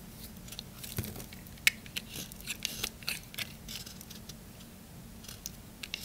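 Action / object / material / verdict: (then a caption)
scrape / bar of soap shaved with a knife / soap / none. A knife blade shaves curled strips off a solid, dry green bar of soap held in the hand. The result is a series of bright, crisp scraping and crackling cuts with short sharp clicks and little low-end body.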